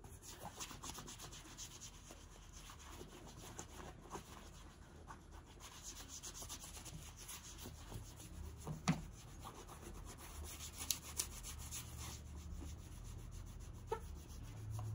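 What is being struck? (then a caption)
Leather boot rubbed with cloth. A white cloth is rubbed over a tall brown leather riding-style boot, worn on the foot, as it is polished. Soft, steady brushing and swishing continues throughout, with a few faint taps.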